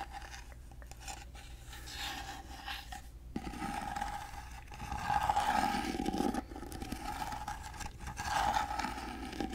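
Long fingernails scratch along the textured, gold-painted ornate surface of a hollow, rectangular carved wooden box held in one hand. Dry, raspy scraping strokes repeat quickly over a steady mid-pitched hum. The scratching grows louder and fuller in the middle and again near the end.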